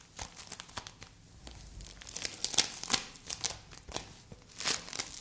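A solid green play foam ball made of small polystyrene beads is squeezed and scratched with long acrylic nails and fingertips. Irregular bursts of crunchy, crumpling crackles sound, mostly bright and high, rising and falling in loudness.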